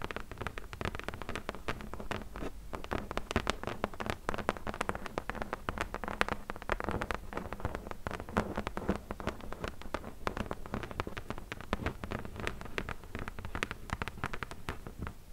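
All ten long nails tap rapidly on the flat top of a closed, hollow corrugated cardboard box. The result is a dense, continuous patter of quick, dry clicks over a soft, hollow low-end thud that carries steadily without pause.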